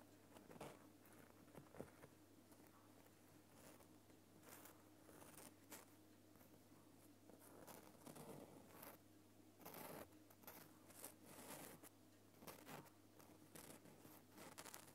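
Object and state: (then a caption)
Himalayan rock salt lamp. A long painted fingernail taps and scratches the rough crystal surface of a large, solid, lit Himalayan rock salt lamp. Short, dry, bright scratchy bursts and soft clicks come at an uneven pace over a faint, steady low hum. The sounds are quiet and close, and each dies away almost instantly.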